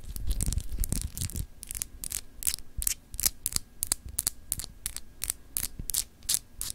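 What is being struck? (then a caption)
Glass globe paperweight. Long acrylic nails scratch over a palm-sized, solid clear glass globe paperweight with etched continents, held in the hand. A quick, uneven run of short, bright, hissy scrapes repeats about three times a second over a low rumbling handling noise that is heaviest in the first second and a half.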